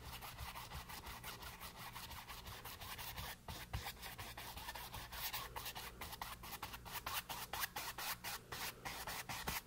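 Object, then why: Brush on painted canvas board. A flat paint brush loaded with wet paint rubs and scrubs across a small, solid, flat stretched canvas board painted green with white edges, lying on a table. Rapid, repeated bristle strokes make a bright, dry scratching rasp. A faint, steady low hum sits beneath, and the strokes grow slightly louder and more emphatic in the second half.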